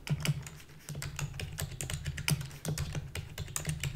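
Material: Plastic.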